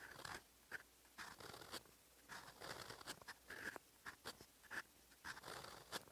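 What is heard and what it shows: A silver metal fountain pen nib writes in olive ink on flat lined writing paper. Continuous scratchy handwriting strokes come in short bursts of dry, bright scraping. Quiet pauses fall between the strokes.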